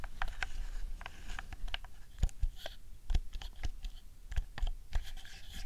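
A camouflage hollow plastic PS4 DualShock 4 controller lying on a fluffy rug is tapped by long nails pressing its buttons, shell and touchpad. The result is a steady run of quick, dry clicks and light scratchy taps with short, muffled thumps underneath.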